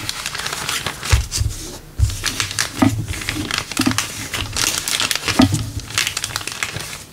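Fingertips press and crinkle a thin, empty, clear LDPE plastic bag printed with the PE-LD 04 recycling mark as it lies flat on a wooden table. The clip is a steady stream of bright, crackly crinkles, broken up by a few soft, low thumps. Several brief pauses fall between bursts of rustling.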